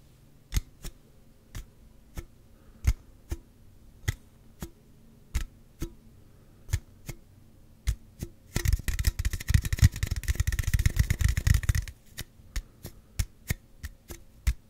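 A slim Celsius aluminum drink can, held at an angle, is tapped on its side with the fingertips and nails. Separate short, dull taps with a brief bright click come at an uneven pace, then speed into a dense rapid flurry of tapping for a few seconds before slowing back to separate taps.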